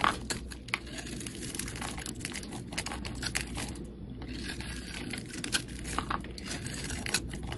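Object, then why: Soap bar scraped with a metal blade. A metal utility blade scrapes across a solid pink bar of soap held in the hand, carving off curly shavings. Quick, crisp scraping and crinkling strokes come one after another with bright edges, over a steady low rumble.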